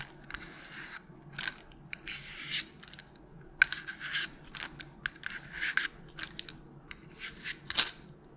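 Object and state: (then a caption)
Plastic bottle, tapped and scratched. A small, hollow white plastic melatonin bottle with a purple cap is held up and tapped and scratched with long pointed nails. Dry, bright scratching bursts alternate with sharp, short clicking taps over a faint low background hum.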